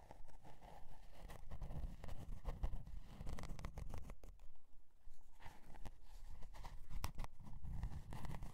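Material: Cardboard.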